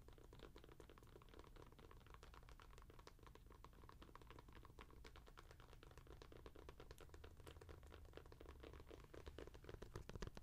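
Long nails tap quickly on the textured, dotted rubber outsole of an Adidas NMD sneaker held close to the mic. The result is a dense, uneven stream of soft, dry clicks over a steady low hum at a quiet level, growing slightly louder toward the end.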